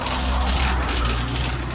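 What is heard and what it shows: A tile-inspection rod is rolled along the grout lines of a ceramic exterior wall tile, producing a steady, constant rolling rattle with a low rumble and a light bright edge. The unchanging sound shows the tile is bonded and not lifted.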